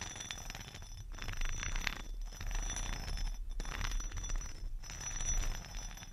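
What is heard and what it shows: A chrome metal facial roller with two round heads is rolled and scraped along the top and edge of a rectangular, solid two-tone whetstone (grey-green top, tan bottom layer) held in a fuzzy-gloved hand. The result is a steady, gritty rubbing and scratching in repeated strokes separated by brief pauses, with bright scraping detail over a low rumble.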